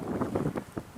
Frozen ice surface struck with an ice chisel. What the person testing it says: That hollow sound like I hit my head. That just means there's no ice.